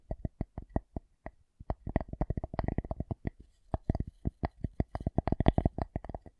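A wooden object is tapped in quick, uneven bursts, giving dozens of short, dry knocks with a hollow low thump and almost no ring. The taps come in clusters separated by brief pauses.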